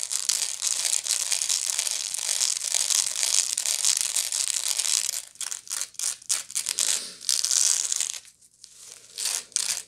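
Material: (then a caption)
Straw. Long nails scratch the woven side and base of a medium, hollow woven straw bag. A dense, bright, hissing scratch runs steadily for about five seconds, then breaks into shorter separate strokes with brief silences between them. After a near-silent pause, a final burst of scratching closes the clip.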